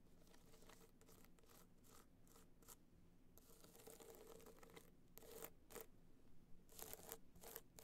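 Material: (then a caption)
Rhinestone. Long nails scratch across the face of a small, hollow, hard-shell clutch covered in gold rhinestones while it is held on fur. The result is a quiet series of bright, raspy scratching bursts that grow a little louder and sharper toward the end.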